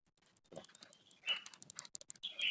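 A damaged steel front wheel bearing from a Yamaha NMAX New motorcycle, the one on the side opposite the new, silent bearing, is spun by hand. It gives a light, high-pitched pattering rattle of quick, short ticks. The bearing is faulty, while its mate is not yet severely worn.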